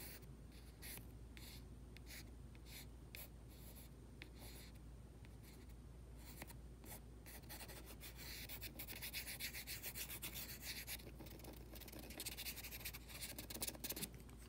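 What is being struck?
Plastic cosmetic jar.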